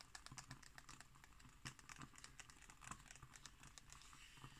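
Long green nails tap and scratch on a glossy illustrated page of an open magazine lying flat. A quiet, quick run of short, dry clicks and brushing scrapes follows, bright and crisp with a soft low thud under some taps and almost no ring after each.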